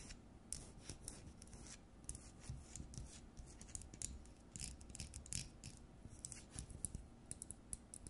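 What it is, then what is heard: Plastic LED light bulb. Long nails tap and scratch the frosted plastic dome and metal-base housing of an LED light bulb. Quiet, rapid, bright clicks and scraping rasps repeat over a steady low rumble, each tap dying away almost instantly.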